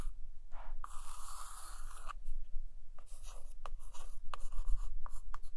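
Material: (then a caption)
Laminated cardboard. A long acrylic nail traces and scratches along the glossy laminated photo cover of a large hardcover book lying flat. Bright, papery scratching strokes sweep back and forth, some drawn out and some short and quick, with small sharp clicks where the nail catches. A faint low hum runs underneath throughout.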